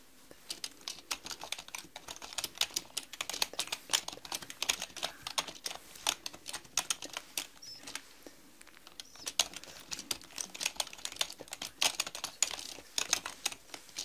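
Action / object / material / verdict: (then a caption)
tap / plastic mechanical computer keyboard / plastic / none. Long nails and fingertips type on a black mechanical computer keyboard with plastic keycaps. Rapid, crisp, bright clicks and clacks come in dense bursts with very little low end, each tapping off almost instantly. The typing eases briefly around the middle before picking back up.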